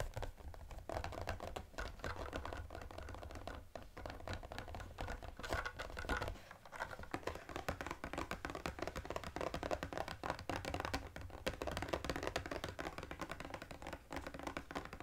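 A small EOS Holiday Collection cardboard gift box with a clear plastic window and lip balms inside is held in both hands and tapped quickly with fingertips and short nails. The result is a steady stream of dense, dry tapping and light scratching clicks that barely ring, over a low background rumble with a brief dip partway through.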